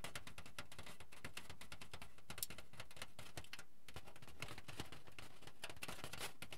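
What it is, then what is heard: Aluminium foil sheet. A thick, crinkled sheet of aluminium foil is held up in both hands, then bent and shaken so it crinkles. It gives a steady, quiet stream of dense, bright crackling and rustling, with small sharper snaps scattered through it.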